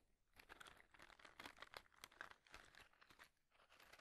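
A small, light, hollow white cardboard matchbox tray is held in both hands while fingertips tap and scratch its surface. The result is a quick run of dry, crunchy, crinkly taps and scratches, bright and papery with almost no low end. Each sound dies away almost instantly.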